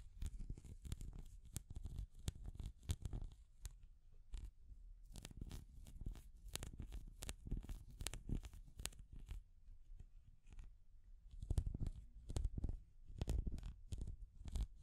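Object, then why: Small hard plastic cat figurine. Long nails tap and scratch a small translucent orange hard plastic cat figure. Quick, dry clicks with bright edges and a dull low body come in dense clusters, mixed with rough scratching. A quieter stretch near the middle is followed by louder bursts of tapping.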